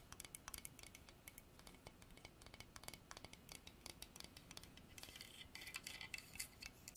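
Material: Hardwood.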